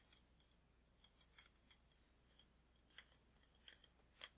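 A large glass jar candle filled with red wax, with a glass lid, is held and tapped on the glass with fingertips and nails. Quiet, bright, short clicking taps come in irregular clusters, each dying away almost instantly with a thin high ring and almost no low end.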